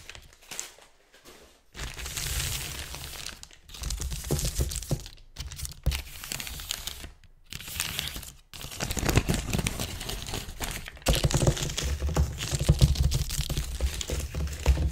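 Fingertips and nails scratch and rub fast over a large, thin, crinkled sheet of white-grey tissue paper spread on a table. The result is bursts of dense, papery crinkling and rustling with bright hiss, separated by brief silences, over a low, heavy rumble from the contact with the table.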